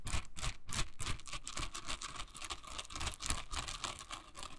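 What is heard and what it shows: Long nails scratch and flick the dense, soft bristles of a hand-sized pink silicone scrubber held in the hand. The result is a quick, uneven run of crackly scratches and soft flicks with a bright, hissy edge and dull low thumps underneath.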